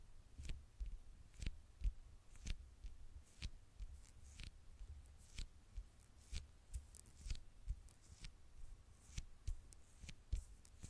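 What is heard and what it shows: Long nails tap and scratch the dark glass screen of a small, flat smartphone held in one hand. Quiet, dry clicks with bright, crisp tips come in an uneven run over a soft, low, muffled thumping bed. Faint scratchy hiss fills the gaps between the taps.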